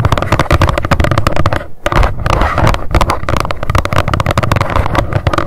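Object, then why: Small cardboard box. Long decorated nails tap rapidly on the face of a small, hollow white cardboard box with a pink label, standing upright. The taps come as a dense, fast stream of short, hollow thuds, heavy in the low end and dying almost instantly, with a brief pause just before the two-second mark.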